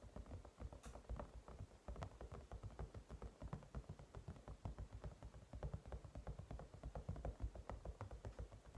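Fingertips and short nails of both hands rapidly tap the top and side of a hand-sized white cat-shaped silicone night light, a toy lamp with a matte silicone-like shell that seems hollow, resting on a table. A quick, steady stream of soft, dull, low thuds, each with a faint click, dies away almost instantly and stays quiet throughout.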